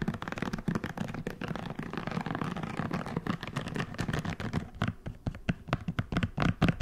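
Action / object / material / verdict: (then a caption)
scrape / silicone scalp massager brush / silicone / none. A hand-sized red silicone scalp massager brush with soft bristles is squeezed and scratched with fingertips, making a fast, dense run of soft scratchy rubbing and tapping. The sound sits mostly low and muffled, with brief brighter clicks. Toward the end it breaks into sharper, louder separate scratches.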